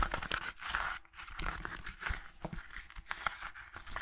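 A closed, solid red hardcover book with a gilt-embossed cover has its cover and spine scratched and rubbed with long nails and fingertips. The result is a quiet, dry run of quick raspy scratches and rubbing strokes with a papery, crinkly texture and brief bright edges.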